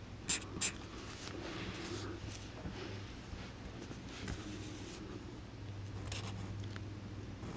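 A black Sharpie felt-tip marker is drawn in short strokes across a small, thin white paper card lying flat on a green cutting mat. The marker rubs and scratches softly against the paper, with two sharp, bright taps near the start and quieter scratches continuing over a steady low hum.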